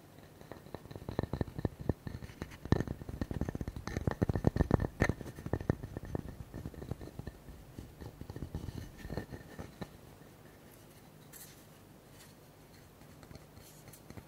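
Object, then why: Wooden tree slice with bark. A solid, palm-sized round slice of birch-like wood with a bark edge is tapped and scratched on its flat faces with fingertips and nails. Rapid, dry, low taps cluster densely through the first ten seconds, mixed with scratchy strokes. The sound then thins to faint, sparse scratching.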